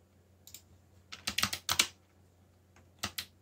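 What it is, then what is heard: Plastic mechanical keyboard. Fingertips press keys on a backlit mechanical keyboard with black plastic keycaps, making bright, clicky strokes. A quick pair of clicks is followed by a faster burst of several strokes, then a pause and a final pair. Each click is sharp and dies away almost at once over a faint low hum.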